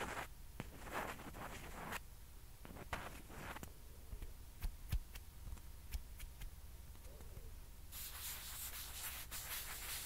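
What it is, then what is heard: Plastic ping pong ball. A single small, hollow, white plastic ping pong ball, held in one hand, is rubbed and scratched with long fingernails. Soft, breathy rubbing bursts mix with sharp little clicks over a low steady hum. Near the end, the scratching turns into a continuous bright hiss.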